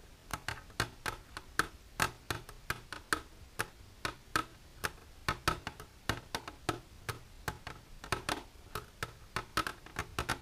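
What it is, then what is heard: Plastic container tapped with fingernails. Long silver nails tap the surface of an empty, clear plastic container lying flat. They make around 38 quick, dry, clicky taps in an uneven rhythm, each with a faint tone near 1.3 kHz and a bright edge. Every tap dies away almost instantly.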